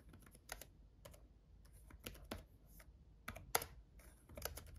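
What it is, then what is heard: Plastic laptop keyboard. Fingertips of both hands type on a black gaming laptop keyboard with red backlit plastic keys. The result is a quiet, irregular run of short, dry, bright clicks and taps that stop almost instantly, over a faint low hum.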